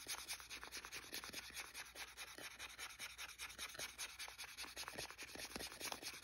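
A hand-sized, blue, hollow plastic Wii game controller held on carpet is tapped and scratched by fingertips and nails across its casing, and then its buttons are pressed. The result is a quiet, steady run of bright, dry scratches, light taps and short clicks with almost no low end and very little ring.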